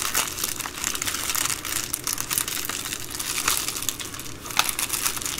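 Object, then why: Plastic bubble mailer. Long green nails and fingertips fold, rub and scratch an empty Amazon Prime poly bubble mailer lying flat. Dense, bright plastic crinkling and scratching runs steadily throughout, with short crackly bursts rising above the rustle.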